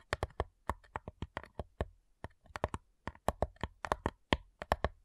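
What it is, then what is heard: Wooden cigar box tapped with nails. Long nails tap rapidly on the lid of a flat, light, hollow wooden cigar box. About 26 crisp, separate taps each give a sharp bright click over a low hollow thump and die away almost at once, in an uneven quick rhythm with brief pauses.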